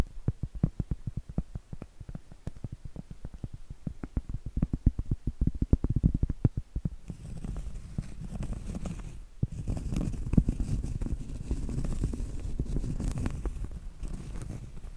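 Long acrylic nails tap rapidly on the face of a large, thin, flat, solid round cork trivet held in both hands, making a quick run of dull, low, soft knocks. About halfway through, the nails switch to scratching across the cork, giving a steadier, rougher, brushing texture with occasional sharper taps.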